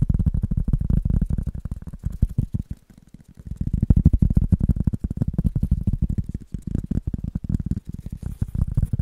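A rubber item is tapped in a rapid, steady stream of soft, dull thuds that are deep and muffled, with almost no ring after each tap. The tapping eases briefly around the three-second mark before picking back up at the same quick pace.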